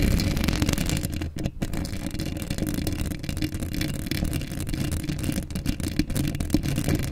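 Long acrylic nails quickly scratch a hollow steel mesh microphone grille up close. The result is a dense, continuous, low-heavy rasping rumble with little high sound and only brief dips in level.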